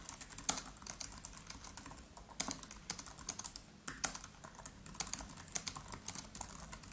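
Both hands type quickly with the fingertips on a MacBook Pro's built-in keyboard, its black plastic keys set in an aluminium body. A steady stream of light, bright, clicky taps with almost no ring, broken by a few louder strikes along the way.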